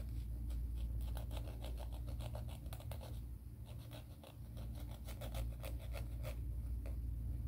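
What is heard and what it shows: A grey emery board nail file is held in one hand while nail filing strokes are made along its gritty surface. A quick, somewhat uneven series of short, dry scratchy strokes, each a brief bright rasp, rises over a steady low hum.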